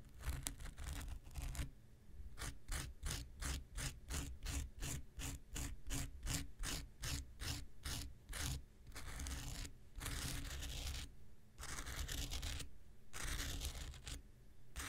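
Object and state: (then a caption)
Foam nail buffer block scraped with a knife. An X-Acto knife blade scrapes the abrasive surface of a small, solid, rectangular pink foam nail buffer block, making a fast, rhythmic series of short, bright scratching strokes. These give way to longer, drawn-out rasping scrapes near the end, all over a steady low hum.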